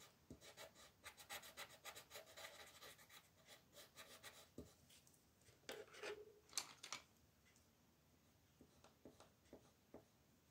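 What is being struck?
Colored pencil on a paper sheet on a wooden desk.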